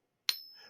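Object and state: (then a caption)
Silver coin ping test. A silver bullion coin clamped in a pocket pinger is pinged once, giving a sharp metallic strike followed by a bright, sustained high-pitched ring with a fainter tone above. The ring is used to judge whether the coin is genuine, but no verdict is given for this coin.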